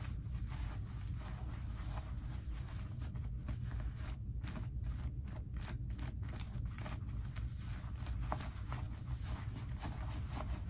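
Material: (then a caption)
Cotton denim. Hands push into the front pockets of light-wash skinny cotton denim jeans, rubbing against the denim and the pocket lining. The result is a steady, low, muffled rustling and brushing, with soft scratchy scrapes of fabric that come and go throughout.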